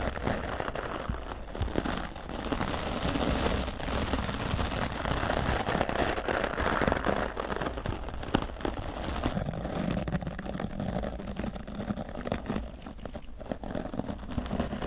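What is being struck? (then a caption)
Foam microphone windscreen. A grey foam microphone windscreen, held in the hand, is scrubbed with the bristles of a wooden body brush. The result is a steady, dense scratchy rustle with crackling texture and a low rumbling body. It runs without break for the whole clip.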